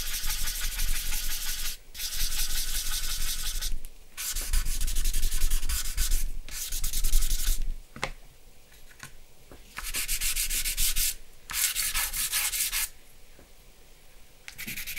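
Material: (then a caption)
Paper. A charcoal stick and fingertips rub and blend across a flat sheet of white drawing paper bearing a charcoal portrait, lying on a wooden table. Bursts of dry, bright, scratchy rubbing come in strokes lasting a second or two, separated by brief quieter pauses. A low hum sits steadily underneath.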